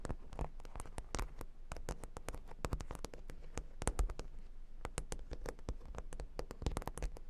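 Long pink nails scratch across a flat, solid cork board covered in a grid of plastic half-pearl stickers. The result is a quick, dense run of short, dry clicks and ticks, with each tick dying away almost instantly over a soft, low scratchy bed.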